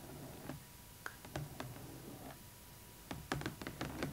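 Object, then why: Cardboard box with clear plastic window. Long acrylic nails tap the clear plastic window of a large, hollow cardboard Rainbow High Winter Wonderland Skyler Bradshaw doll box, close up. Ten short, dry, clicky taps come scattered at first, then bunch into a quicker run near the end. Each has a soft, hollow low body and dies away almost at once.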